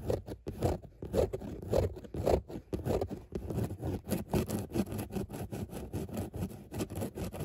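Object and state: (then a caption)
Fabric car seat, scratched. Long nails scratch back and forth across a padded grey fabric car seat with a raised dot pattern. The strokes come as a steady run of soft, dull, muffled scraping rasps, mostly low in tone with little brightness.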